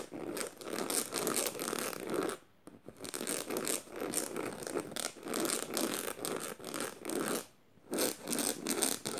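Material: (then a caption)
Canvas. Fingernails scratch quickly across a black canvas tote bag covered in metal studs, making dry, raspy, zipper-like scrapes. Bursts of rapid strokes are separated by brief silent pauses near 2.5 and 7.7 seconds.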